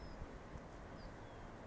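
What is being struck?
Nothing is struck.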